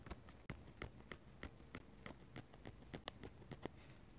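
A metal-nib dip pen makes rapid stippling taps and scratches on a paper sketchbook page. Quick, dry, clicking taps land in an uneven rhythm over a soft, scratchy low bed, with brief bright edges and no ringing.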